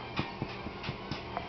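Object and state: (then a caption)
Baked bread loaf, hollow (done). The browned bottom of a fresh, baked white bread loaf, just taken out of its pan, is tapped with a series of light, muted knocks. The hollow sound, like a soft knock on a door, shows the bread is baked through and done.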